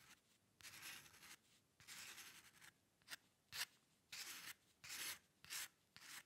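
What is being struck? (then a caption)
Paper sheet and metal pen nib. The metal nib of a dip pen scratches across a flat sheet of white drawing paper while drawing hair lines. Nine bright, dry scratching strokes are heard, some long and some short, with quiet pauses between them.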